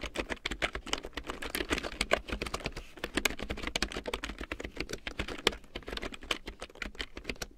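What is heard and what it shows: A full-size large print keyboard with a black plastic frame and big yellow plastic keycaps, lying on faux fur, is typed on with long painted nails and fingertips. Quick, dry plastic clicks and taps follow one another in a steady, uneven rhythm, each dying away almost instantly. A faint low hum runs underneath.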